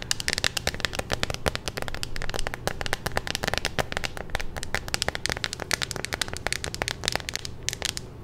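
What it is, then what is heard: Plastic phone case tapped with nails. A hollow clear plastic phone case with a pink magnetic ring, held in both hands, is tapped and scratched with long nails. It gives a rapid, dense stream of sharp, bright clicks and crackly scrapes over a steady low rumble. Each tap is very short with almost no ring.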